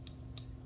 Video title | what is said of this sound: CLYW Blizzard- The Jesse Proctor Review | it's kind of almost like a hollow sound especially when it smacks in your hand